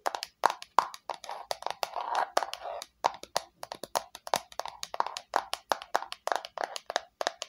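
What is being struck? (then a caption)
Small plastic box. Long nails tap quickly and delicately on the flat face of a small hollow red plastic square box with rounded corners. The result is a rapid, uneven run of crisp, dry clicks with a hollow midrange knock near 1 kHz and bright edges. Each tap dies away almost instantly.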